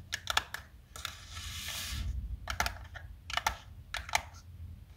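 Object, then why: Plastic tub holding chalk sticks. Long nails tap the sides of a small black plastic food tub, full of colored chalk sticks and held in both hands. Quick, sharp, bright clicks come in clusters, with a longer hissing rattle of the chalk shifting inside in the middle of the clip. Each tap dies away almost at once.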